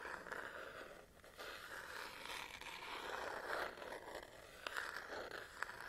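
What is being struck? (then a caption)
Plastic and rubber camera body. Long nails scratch the textured rubber and plastic back of a black Canon DSLR body held in one hand. The result is a continuous dry, rasping scrape centered in the midrange, with light bright hiss and a few sharper ticks near the end.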